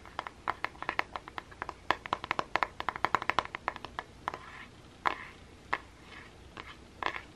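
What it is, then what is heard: Plastic paddle hairbrush. Painted fingernails and fingertips scratch and tap the dense plastic pin bristles and hollow back of a hand-sized pink plastic paddle hairbrush held over a table. A quick, uneven string of sharp, dry clicks and scratchy ticks comes through, bright with a clear tone near 1 kHz. Each click dies almost at once, and the taps thin out into a few softer scratches toward the end.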